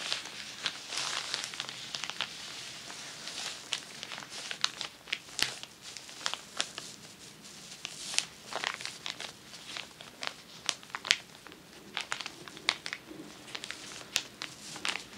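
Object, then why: Sheet of tissue paper. A large, crinkled sheet of tissue paper lying flat on a table is scratched and crinkled with long nails and fingertips. The result is a steady, bright, papery crinkling with many sharp, quick crackles and rustles that die away almost instantly, and almost no low end.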